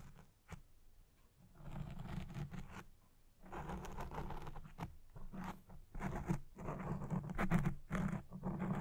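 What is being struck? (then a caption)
Foam microphone windscreen. Red-painted fingernails scratch the black foam windscreen on a recording Blue Yeti Pro microphone. The result is close, rough, irregular bursts of scratching with a heavy low-pitched rumble and brief quiet gaps between passes.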